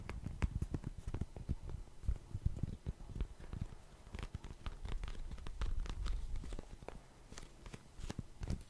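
A small, hollow, printed Cheeky Panda cardboard tissue box is tapped rapidly with fingertips and nails. The sound is a quick, uneven patter of dull, low, boxy thuds, with occasional brighter clicks from the nails. Each tap dies away almost instantly.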